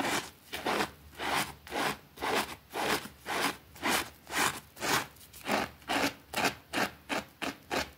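A small, thin green fabric rug, soapy and lying on a concrete floor, is scrubbed with a white plastic brush while a finger holds it in place. Steady back-and-forth strokes make rhythmic, bright, wet brushing swishes at about two per second.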